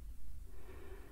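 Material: Nothing is struck.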